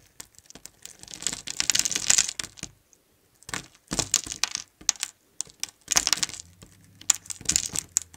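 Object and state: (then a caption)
Bar of soap being carved. A metal utility knife blade carves and scrapes a solid mint-green bar of soap held in the hand, sending shavings and cubes falling off. Bursts of crisp, bright, gritty crunching and scraping come in several clusters separated by short silent pauses.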